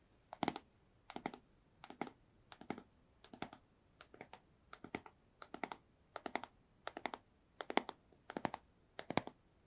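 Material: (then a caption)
Cardboard. Long nails tap a small, hollow, white rigid cardboard AirPods box held in one hand. The taps come in thirteen short, evenly spaced bursts of quick, dry, bright clicks with a hollow low-mid knock and no ring, all at a quiet level.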